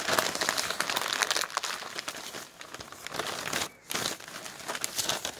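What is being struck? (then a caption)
Thin newsprint paper flyer. A crumpled sheet of thin printed newsprint flyer is crushed and rubbed between the hands, with fingertips folding and squeezing the paper. Dense, bright crinkling and crackling runs almost continuously. It pauses briefly near the end before resuming.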